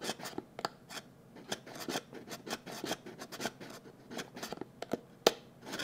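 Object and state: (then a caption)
Cardboard box scratched with fingernails. A small, hollow, blue printed cardboard box is held in both hands and scratched with fingernails. The result is a quick run of dry, bright scratching strokes with short gaps between them, and one sharper scrape near the end.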